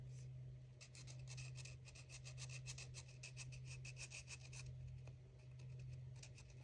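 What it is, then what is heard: Plastic toy egg being drawn on with a marker. A felt-tip marker tip rubs quickly across a small white, apparently hollow plastic toy egg held in one hand while colouring a printed cartoon outline, with a second marker held but unused. Rapid scratchy drawing strokes give bright, rasping bursts over a steady low hum throughout.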